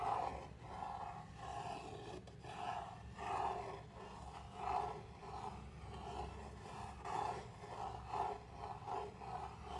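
Fingernails scratch the surface of a flat, palm-sized, laser-cut MDF board with slots, a solid thin sheet. Repeated rasping strokes rise and fall in steady waves, with a mid-pitched scraping tone over a faint low rumble.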